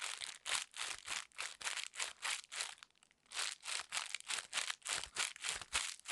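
A wad of thin, clear, crinkly plastic wrapping film is held in one hand close up and squeezed, scrunched and rubbed by fingers with long red nails. Quiet, bright crinkling comes in steady rhythmic bursts, with a short lull near the middle before the scrunching resumes.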